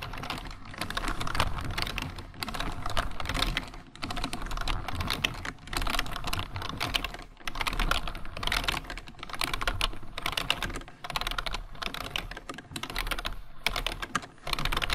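Both hands type with their fingertips on the keys of a full-size black plastic computer keyboard. Rapid, dry clicks and clacks arrive in steady bursts separated by brief pauses, each tap dying away almost instantly. Soft low thumps sit under the brighter key clatter.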